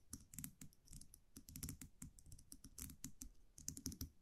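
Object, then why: Wire champagne muselet with metal cap. A small wire champagne cork cage with a round metal cap, held in the fingers, is tapped and scratched with long nails. The result is a quiet, rapid run of light clicking taps with bright, sharp ticks over a soft low thump, each dying away almost at once.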